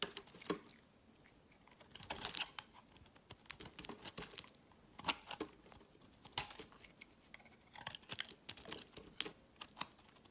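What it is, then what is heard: Bar soap being carved. A metal utility knife blade shaves a solid, hand-sized white bar of soap held in the fingers, peeling off thick curls. Quiet, crisp, bright scrapes and short carving strokes come in irregular bursts, each dying away almost instantly, with very little low end.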